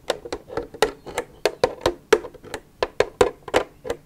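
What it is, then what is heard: Empty plastic milk jug, hollow. Long nails tap and scratch the side of an empty, hollow plastic milk jug, making about 15 quick, dry knocks with a hollow tone around 500 Hz. Each tap dies away almost at once, with faint scratchy, bright edges between the hits.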